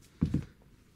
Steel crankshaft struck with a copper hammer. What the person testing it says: this crank is not impressed with the one kill copper hammer you can already hear it